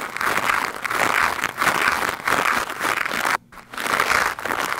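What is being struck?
Foam microphone windscreen brushed with a stiff plastic brush.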